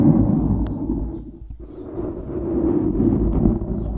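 A dark grey foam windscreen on a microphone is scratched and squeezed by the fingertips of both hands. It makes a dense, low rumbling crackle with a muffled scratchy texture. The sound dips briefly in the middle and then swells back.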